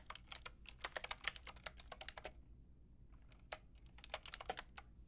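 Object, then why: Mechanical keyboard with round plastic keycaps. Long painted nails and fingertips type on a white and pink Lofree mechanical keyboard with round plastic keycaps. A quick run of bright, crisp clicky taps is followed by a short pause, then another burst of typing. Each tap is short and dry against a faint low hum.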